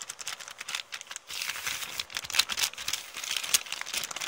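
Long painted nails scratch and crinkle an empty, wrinkled kraft-paper shopping bag with blue print. The result is a dense run of bright, dry crackles and rustles, with sharper snaps standing out and almost no low end.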